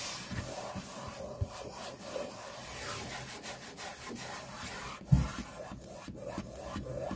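The pads of the index fingers tap and scratch a solid, flat white laminate desk top, producing a steady, soft rubbing and scraping texture. One sharper, louder tap stands out near the five-second mark, and the sound is mostly low and dull with little bright content.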